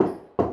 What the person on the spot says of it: మీరు ఎక్కడ నాక్ చేసినా మీకు వుడ్ వస్తుంది మనం ప్లే వుడ్ మీద నాక్ చేస్తే ఎలా వస్తుందో అలా వస్తుంది సౌండ్ కానీ మొత్తం స్టీల్